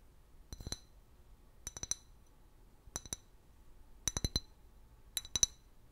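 An empty, large, hollow clear glass liquor bottle with a paper label is held sideways and tapped with long fingernails. Five quick bursts of two to four sharp, bright clinks each are heard, with high glassy ringing that dies away almost instantly. Faint background hiss fills the quiet gaps between bursts.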